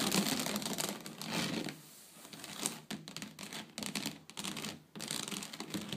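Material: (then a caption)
Wicker. Long blue nails scratch and tap quickly across the weave of a flat woven wicker (rattan) tray. The result is a dense, bright, crackly rasp of rapid clicks and scrapes that briefly softens around the two-second mark and drops out for short gaps before resuming.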